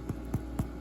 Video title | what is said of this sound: Homemade Portuguese Rolls | tap the bread and if it sounds hollow then you know they're done